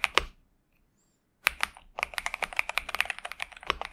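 Both hands type with their fingertips on a pink and purple 65% Xinmeng M71 mechanical keyboard with TTC Superman switches and plastic keycaps, resting on a desk mat. Two quick keystrokes are followed by a second of silence, then a steady run of rapid, bright, clacky keypresses. Each click is short and crisp, with almost no low end.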